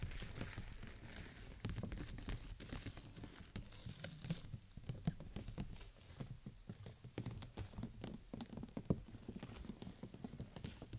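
Long nails tap the thin plastic canopy of a clear PVC bubble umbrella, at the sides and top, held over the microphone. The result is a quiet, fast, uneven patter of soft, dull ticks that are mostly low and thumpy, with brief bright clicks that die away almost instantly.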